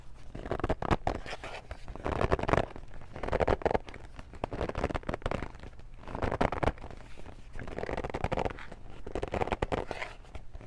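A Family Feud cardboard game box is held in both hands while long nails grip and scratch its glossy front. Dense bursts of scratchy, crackling friction swell and fade in waves, with a low rumbling undertone and little high-end brightness.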